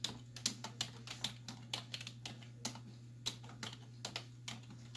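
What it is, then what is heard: Plastic computer keyboard being typed on. Both hands with long white nails type on a black plastic desktop keyboard with hollow keys, striking with fingertips and nail tips. About nineteen short, bright, hollow clicks come in an uneven rapid rhythm, each dying away almost instantly. A steady low hum runs underneath.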